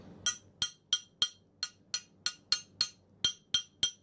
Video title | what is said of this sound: Spurs Kalispell | You can hear it ring there, hopefully.